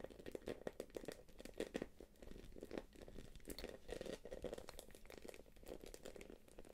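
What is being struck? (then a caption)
Quilted plastic purse. A small light-blue quilted glossy plastic purse is held up in the hands while long nails tap and scratch across its quilted face. The result is a quiet, steady stream of quick crinkly taps and scratchy rustles, with brief clicky peaks over a soft mid-range body.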